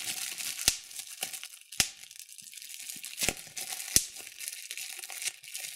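Clear plastic bubble wrap is held in both hands while the fingers squeeze and pop the bubbles. Steady bright crinkling and crackling runs throughout, broken by several sharp, short pops that snap out louder than the rustle and die away almost instantly.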